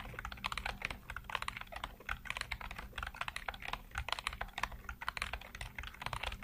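Fingertips type steadily on a black plastic computer keyboard with hollow keycaps, making a rapid run of short, bright clicks and clacks. Each keystroke dies away almost instantly, over a faint, steady low hum.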